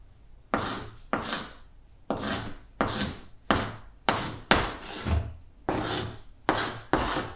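A stick of chalk is scraped across a large, flat green chalkboard, writing Latin letters in short strokes. Eleven distinct scratchy bursts are heard, each starting with a sharp onset and a bright, hissy rasp before fading quickly, with brief near-silent gaps between some of them.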